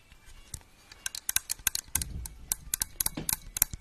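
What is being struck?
Small melamine bowls.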